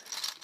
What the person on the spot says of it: you get that really cool gear sound that you get, like just by shaking it, you can hear it